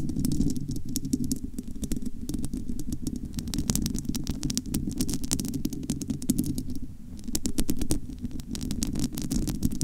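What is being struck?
Metal mesh microphone grille.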